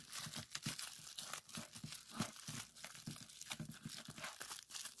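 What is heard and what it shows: A clear plastic bubble wrap sheet is pinched and squeezed between the fingers to pop its bubbles. Quick, sharp pops and bright crinkling crackles follow one another closely over soft plastic rustling. Each pop is short and dry, with almost no ring.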